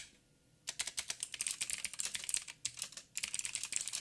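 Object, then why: Mechanical keyboard with plastic keycaps. After a brief silence, fingertips type with both hands on a backlit 87-key mechanical keyboard with plastic keycaps and clicky blue switches. The result is a rapid run of sharp, bright clicks with very short decay and almost no low end, broken by two short pauses before the typing resumes.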